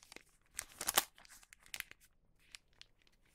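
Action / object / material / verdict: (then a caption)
scrape / wax paper bag / wax paper / none. A folded wax paper bag blank lies on a cutting mat while its bottom is folded and the creases are pressed flat with fingertips. Bright, papery crinkling and rubbing come in short bursts, loudest around the one-second mark, then fade to lighter rustles.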